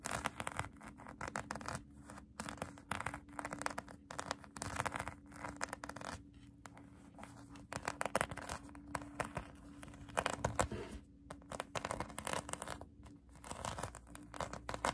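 Long acrylic nails scratch a pink polyurethane foam donut squishy toy, making quiet, rapid, dry scratching bursts with brief pauses between strokes. A faint steady low hum runs underneath throughout.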